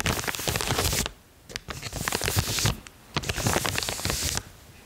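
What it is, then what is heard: Plastic mailer bag. Long painted fingernails tap and scratch the surface of a large, white, glossy plastic shipping bag with a printed logo, held upright and partly filled with soft clothing. The result is dense, bright crinkling and crackling with soft taps underneath, arriving in two main bursts separated by short quiet pauses.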